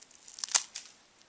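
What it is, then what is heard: Crispy fried pastry. A freshly made, zero-shaped fried dough snack coated in cinnamon sugar is broken in half, giving a short, bright, crispy snap. The break sounds as three quick crackling cracks, the middle one loudest. The snack is very crispy.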